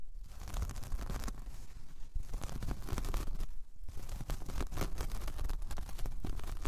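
Long painted nails scratch across a large, flat, solid, round braided jute/straw coaster. The result is a steady, dry, rasping scratch with bright crackly bursts over a soft low rumble, rising and falling in quick strokes throughout.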